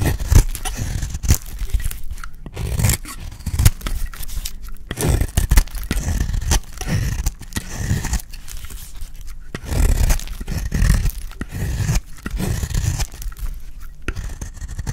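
A utility blade held in one hand scrapes a dry, solid green soap bar that is partly carved. The result is a steady run of short, dry, crackly scraping strokes, with bright crumbly texture over a heavy low-end rumble and brief quieter gaps between passes.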